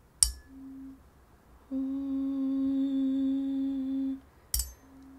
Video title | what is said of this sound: #flaconaj - Top 3 designuri de sticla: episodul #vintage | Se aude? Deci un diapazon funcțional.